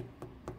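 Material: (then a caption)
Clay. Two light taps on a leather-hard, unfired clay platter resting upside down on a potter's wheel during trimming, checking how thick the wall is. Each tap gives a soft, dull knock with a slightly hollow tone over a low hum. This spot sounds hollow, meaning there is not much clay there.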